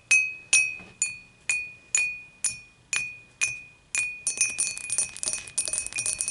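Long matte nails tap the sides of an empty, upright, clear dimpled glass beer mug. Nine evenly spaced taps each give a bright glassy clink with a steady ringing tone near 2.5 kHz that fades quickly. They then give way to a faster, denser flurry of overlapping tapping.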